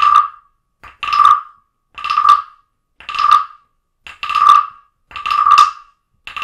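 A small hollow carved wooden frog figurine, held in a hand with long nails, is tapped repeatedly with a wooden stick. The result is a series of short, hollow woody bursts about once a second, each ringing with a tone near 1.2 kHz plus bright overtones and dying away quickly into silence.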